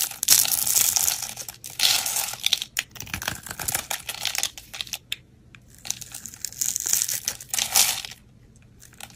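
A metal utility blade scores and scrapes a solid pale green "la bella" soap bar held in the hand, breaking it into small crumbles. Bright, crisp scraping and crinkly crumbling bursts come in waves with a lot of high hiss, separated by short quiet pauses. The last stretch ends in near silence.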